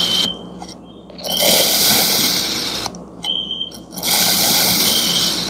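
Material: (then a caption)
Kinetic sand. A serrated metal knife slices thin layers from a palm-sized solid block of green kinetic sand shaped like a mooncake, resting on a white surface. Repeated cutting strokes make long, bright, gritty scraping hisses, broken by quieter pauses in which a faint steady high tone lingers.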